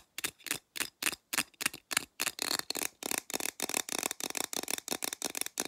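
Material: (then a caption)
Aluminum. Long black nails tap and scratch along the body of a blue printed aluminum drink can held sideways. Around twenty short, bright, dry bursts of clicking and scraping come at an uneven pace, spaced apart at first and then quicker and denser, with no low end or ringing.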